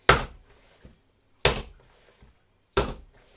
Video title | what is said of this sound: #ковбаса копчена з бочки😋😋 | тут до миски коли починаю вибивати Воно якби дзвенить